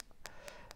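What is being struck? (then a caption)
Makeup packaging tapped with fingernails. Fingernails tap three times on a metal makeup package, which sounds metallic and is judged to be metal because it is heavy and cold. Each tap gives a quick, bright click with a short mid-pitched ring that fades almost at once.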